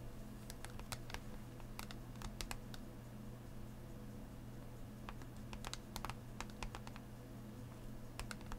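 Fingernails tap quickly across a hollow clear plastic blister holding booster packs on a cardboard backing, lying flat. Short, bright clicks come in irregular bursts over a steady low hum, each tap dying away almost at once.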